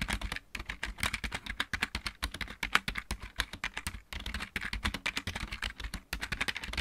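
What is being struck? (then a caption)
Plastic mechanical keyboard. Both hands type rapidly with their fingertips on a full-size backlit plastic mechanical keyboard. The result is a fast, steady stream of short, dry clacks with a bright edge and a soft low thump under each keystroke, with brief pauses between bursts.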